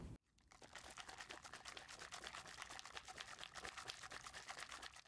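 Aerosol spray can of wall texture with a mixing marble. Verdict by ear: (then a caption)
Loose. An aerosol spray can of orange peel wall texture is shaken so its mixing marble rattles inside. It makes a rapid, uneven series of bright clicking rattles that runs steadily after a brief opening sound. Once the marble rattles, the texture is loosened and ready to spray.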